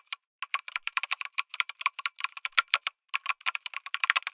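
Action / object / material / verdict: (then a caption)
tap / mechanical keyboard with aluminum case and plastic keycaps / plastic / none. Fingertips type on a lit mechanical keyboard with an aluminum case and plastic keycaps. About thirty short, dry, bright clacks come in quick bursts, with a brief pause near the three-second mark. There is no low-end thump and no lingering ring.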